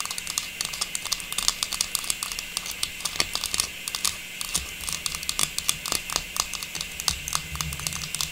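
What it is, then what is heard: Plastic star tree topper. A small hollow faceted silver metallized plastic star tree topper with a tubular stem, held in one hand, is tapped and scratched with long pink natural nails. Dozens of quick, light, bright clicks and thin scratchy rustles follow one another with almost no ring, over a faint steady background hiss.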